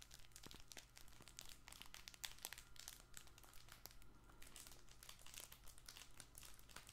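A soft fabric baby crinkle ball with yellow dotted and blue panels is squeezed with both hands. It gives a continuous run of dense, bright crinkling crackles over a steady low hum, with no single burst standing far above the rest.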